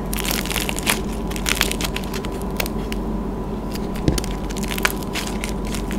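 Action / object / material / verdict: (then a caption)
scrape / clay lollipop with hardened crust / clay / none. Both hands squeeze a palm-sized pastel swirl lollipop made of dried clay on a wooden stick, cracking its hardened painted clay crust over soft yellow clay with fingertips and thumbs until the brittle shell is crumpled into fragments. A continuous dense crackling and crunching runs throughout, with bright, sharp snaps over a steady low rumble. A few louder cracks stand out near the end.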